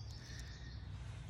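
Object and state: Nothing is struck.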